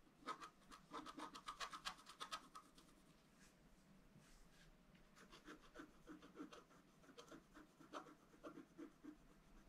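A bamboo stylus scratches small details into the black wax coating of a flat scratch art card while the other hand holds the paper down. Quick, irregular, dry scratching strokes come at about four per second, with a thin squeaky tone near 1.1 kHz and a bright rasp. The scratching is loudest in the first few seconds, softens through the middle, then picks up again in short bursts.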